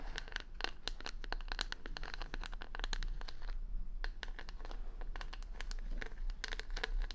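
Long nails scratch the plastic rhinestones covering the back of a wooden paddle hair brush held close to the mic. The result is a rapid run of sharp, bright clicking and scratching ticks over a steady low hum, with a brief lull midway.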